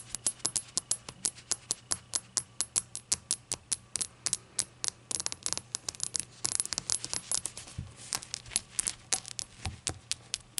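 A glass shot glass is tapped and fidgeted with, giving a steady run of dozens of quick, bright clinks with very short, high ringing. Around the middle the taps crowd together into denser clattering before returning to an even rhythm, over a faint low hum.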